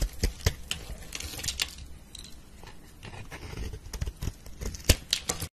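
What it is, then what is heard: Soap bar being scraped. A metal knife blade scratches cross-hatch lines into a solid pink soap bar held by fingers with red nails, then scrapes and shaves off slices and powder. Short, dry scratches and crisp clicks with bright crackling edges come in uneven bursts over a soft, low rumble. Quieter, steady scraping fills the middle before sharper strokes return at the end.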